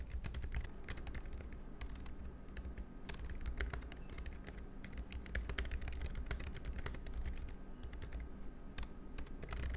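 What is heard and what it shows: Fingertips type quickly and continuously on a compact black plastic Logitech MX Keys Mini, a low-profile scissor-switch keyboard. The result is a steady stream of short, soft, bright key clicks that die away almost instantly, over a constant low hum throughout.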